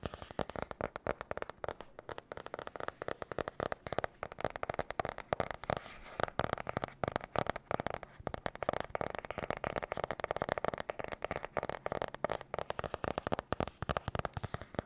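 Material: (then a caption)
Cardboard. Long painted nails tap and scratch quickly on the glossy blue marbled cardboard cover of a medium spiral-bound notebook held close to the microphone. The result is a fast, chaotic stream of dry, crisp clicks with almost no ring, centred in the midrange around 670 Hz, with soft scratchy rustling between the taps.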